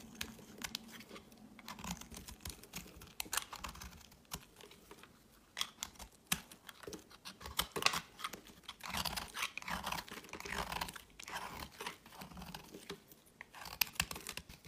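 A thinned slab of solid green bar soap, held in the fingers, is shaved with a metal utility knife blade, and the flakes pile up. Quick, dry scraping and carving strokes come in a steady, crisp series with bright, high-frequency detail. Each stroke dies away almost at once.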